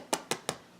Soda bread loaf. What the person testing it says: there's a certain amount of hollowness you can hear even when you tapping on the front